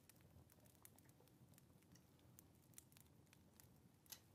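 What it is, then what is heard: Paper sheet scratched by a pen nib. A dip pen or quill nib scratches across a small, thin, flat paper card resting on a wooden table while writing on it. Quiet, dry scratching and faint crackles come through as brief bright ticks over a soft low rumble, with one louder scrape near the end.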